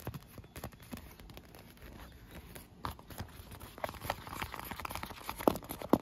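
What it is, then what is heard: Inflated vinyl pool lounge, hollow and air-filled. Long nails tap and scratch an inflated, hollow, air-filled clear PVC vinyl pool lounge, including its cup-holder rim. Soft, quiet taps and rustling scratches continue in an uneven patter that grows busier toward the end, where a couple of sharper, louder taps stand out.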